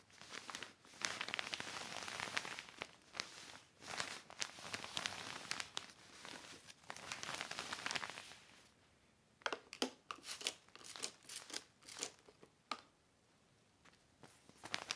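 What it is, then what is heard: Heavy plastic sheet crinkling. A hand rubs a yellow microfiber cloth over a black heavy plastic sheet lying flat on a red blanket. For about eight seconds there is dense, bright crinkling and rustling in steady waves. It then gives way to near-silence broken by separate sharp crackles and snaps.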